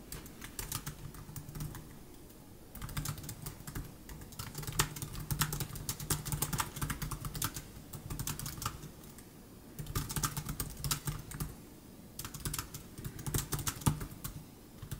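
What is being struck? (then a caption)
Plastic chiclet laptop keyboard. Both hands type with their fingertips on the plastic chiclet keys of a 2015 MacBook Air laptop keyboard. Rapid, light, bright clicks come in several bursts separated by brief pauses. A steady low hum runs underneath, and each click dies away almost instantly.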